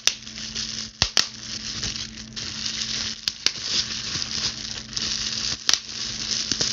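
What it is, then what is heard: Plastic bubble wrap being scratched and popped. Long blue pointed acrylic nails scratch, pinch and pop a clear plastic bubble wrap sheet. A steady bright, crinkly scratching hiss runs throughout, broken by sharp, dry pops that die away almost instantly.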